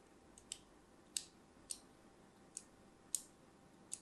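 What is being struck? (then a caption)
Bar of solid soap scored with a thin blade. A thin metal blade cuts crosshatch lines into the surface of an orange and white striped solid soap bar held in hand. Seven short, bright, crisp clicks come at irregular intervals, each dying away almost instantly against a quiet background.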